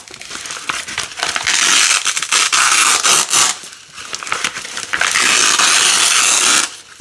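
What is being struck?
Nylon hook-and-loop strip.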